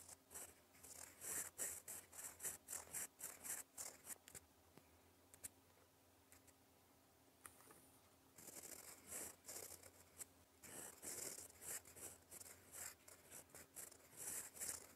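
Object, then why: Fountain pen nib on paper sheet. A gold fountain pen nib writes in black ink across a flat sheet of lined cream paper, scratching out cursive strokes in a rapid, irregular series of bright, dry scratches. The writing pauses for a few seconds midway, leaving only faint low hum, then resumes with more scratching bursts.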